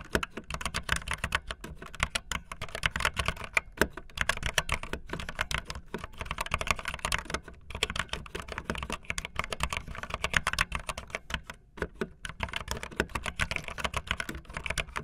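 Fingertips with long nails type fast on a backlit optical linear mechanical keyboard with white and blue plastic keycaps. A steady stream of rapid, short, bright plastic clacks runs throughout, over a constant low background rumble.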